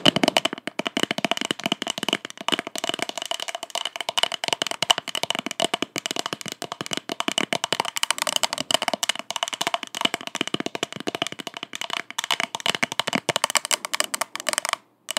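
An empty purple plastic party cup, held upside down, is tapped and scratched with long acrylic nails. Rapid, dense clicking taps mix with scratchy rasps, giving a bright, hollow plastic tone with a steady ring near 3 kHz and a fainter one near 700 Hz. Each tap dies away almost instantly.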